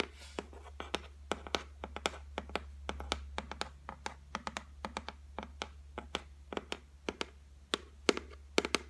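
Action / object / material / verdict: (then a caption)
tap / laminated board shelf / laminate / none. Long white nails tap and scratch across the flat top of a solid white laminate shelf board, making a rapid, irregular run of dry, clicky taps with brief scraping strokes between them. Each tap stops almost instantly with no ring, over a steady faint low hum.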